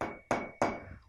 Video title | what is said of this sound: Arte - 1.º ano - aula 09 - 16/06 | Olha que interessante não é a mesma coisa